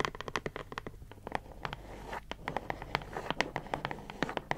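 A closed, printed cardboard puzzle box with cartoon art, held in the hands, is tapped and scratched with long nails. Quick, dry, bright clicks come in an uneven run, with a soft scratchy rustle filling the quieter middle stretch. Each tap dies away almost instantly.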